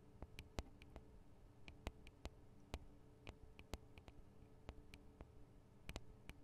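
Long acrylic nails tap the metal and plastic microphone capsules of a Tascam DR-40 recorder, with fingers gripping near the capsules. An irregular series of sharp, dry, close-up clicks, some with a bright edge, stops almost instantly over a steady low hum.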